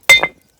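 Two quick, sharp strikes, each with a steady high tone around 2 kHz that carries briefly before fading within about a third of a second. For a rock this is unusual: it clinks like iron or a small bell rather than giving a dull knock.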